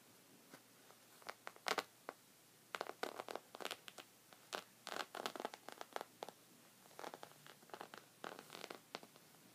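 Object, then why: Thick woven fabric rug. Red-painted fingernails and knuckles scratch and rub the textured surface of a thick, folded white woven rug lying on a table. Quiet, dry, bright rasping bursts come in uneven clusters, with short pauses and no ringing between strokes.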